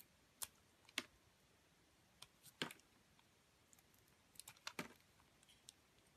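A metal utility blade slices and scrapes the coating off a solid grey and white bar soap. About twelve crisp, bright clicks and short scrapes land at irregular intervals, each dying away almost instantly over a quiet background.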